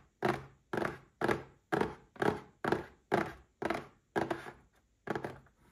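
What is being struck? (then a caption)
Small cardboard box. A small red cardboard gift box standing upright is tapped with fingertips and short nails, giving ten dull, hollow taps at a steady, unhurried pace. Each tap has a soft low-mid body with a brief papery edge and dies away almost at once.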